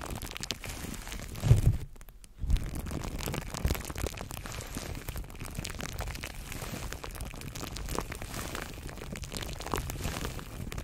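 Clear plastic cling film wrapped around a microphone is squeezed and crinkled by fingertips of both hands, giving a dense, continuous crackle with heavy low rumble from the handling. Two louder squeezes stand out near the start, with a brief near-silent gap between them, before the steady crinkling resumes and continues to the end.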